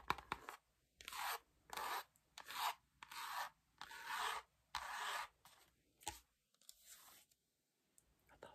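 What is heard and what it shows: Long nails scratch and rub the back cover and edge of a dark-green, cloth-covered hardcover album. Dry, bright rasping strokes come in separate bursts with brief silences between them, and the later strokes grow softer and lighter.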